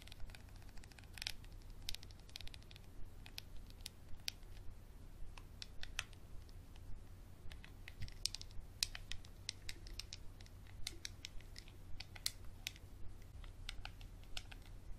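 A small clear textured glass bottle with a dark cap, held in the hand, is scratched with a capped Sharpie marker. Quiet, irregular bright scratching clicks repeat throughout over a steady low hum.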